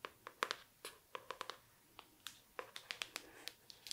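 Long nails tap and scratch the floral printed cover and spine of a hardcover book, "World of Wonders," held up in the hand. About nineteen quick, dry, bright clicks sound, each dying away almost instantly, with faint scratchy rustling between them.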